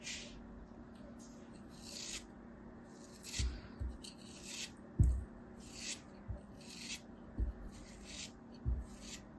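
A small, solid molded tower of kinetic sand, held between fingers, is scraped and sliced with a thin metal knife. Repeated soft, gritty rasps with a bright hiss come in short strokes over a low background rumble. Four duller low thuds stand out as the blade cuts through.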